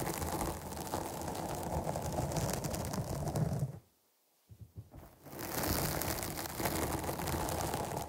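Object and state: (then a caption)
Foam microphone windscreen being scratched. Long nails scratch the top and sides of a black, soft porous foam windscreen on a microphone, making a dense, continuous scratchy rustle with a heavy low rumble and faint bright hiss. Near the middle the scratching stops for a moment of near silence broken by a few soft taps, then builds back up and continues steadily to the end.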